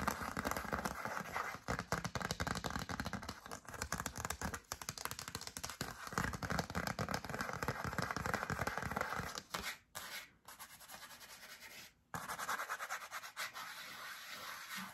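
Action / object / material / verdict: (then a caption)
scrape / cardstock greeting card / cardstock / none. Long acrylic nails scratch and rub the front of a yellow cardstock greeting card held in one hand, producing dense, rapid papery scratching and crinkling. The sound runs steadily for about nine and a half seconds, breaks off with brief silences near ten and twelve seconds, then resumes more softly.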